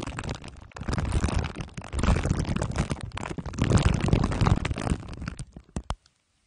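Two glue sticks are dabbed on top of a microphone head wrapped in crumpled aluminium foil under clear plastic wrap. The result is dense, sticky crinkling and crunching with a heavy low-end rumble that swells and fades in waves. It thins into a few separate taps before stopping.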